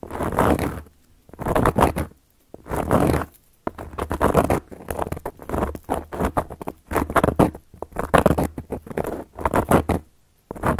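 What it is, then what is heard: Cork coaster being scratched. Long gold metal claw nails tap and scratch across a round, flat, solid cork coaster. The sound comes as bursts of dry, raspy scratching and quick pattering taps separated by short silences, with no ringing after each stroke.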